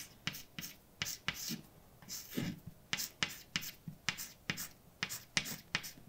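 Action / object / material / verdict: scrape / chalk on a blackboard / chalk / none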